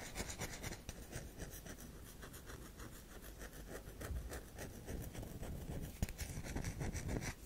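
Long acrylic nails scratch and scrape across the carved, powdery face of a round solid bar of soap held in the hand. A quick, uneven run of dry, gritty scratching strokes repeats steadily throughout, with a soft low rumble underneath and one sharper click near the end.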